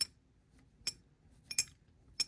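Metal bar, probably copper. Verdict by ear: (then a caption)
Fake. A bar sold online as fine silver is ping-tested by tapping it against silver, giving several short, high, glassy clinks that die away almost instantly with no ring. The dull, flat sound marks it as counterfeit, and a metals shop scan later showed it was other metals, probably copper.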